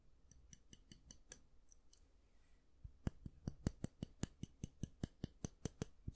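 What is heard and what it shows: Fingernails tap and click on the black-and-white plastic handle of a round styling brush and flick its bristles. Faint, soft ticks in the first half give way to a steady run of louder, sharp, dry clicks from about three seconds on. Each click is brief and bright with almost no ring.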